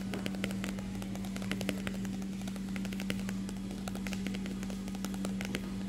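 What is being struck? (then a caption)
Closed glossy paper magazine. A closed glossy paper magazine, the stilwerk Magazin "Come Back Issue," lies flat while the solid stack of pages is tapped rapidly with the fingertips of an open hand. A ring on one finger may add small clicks. The result is a dense run of soft, dull taps with sharp bright clicks over a steady low hum.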